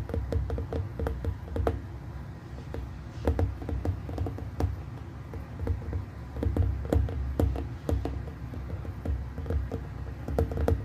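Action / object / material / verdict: tap / glass plasma globe / glass / none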